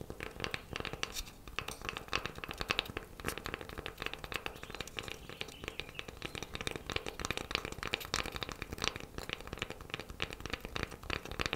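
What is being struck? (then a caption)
Wooden coaster. A wooden coaster is tapped quickly with fingernails, producing a continuous stream of fast, light, crisp clicks with no ring after each tap. The sound is bright and dry, with steady energy in the upper range throughout.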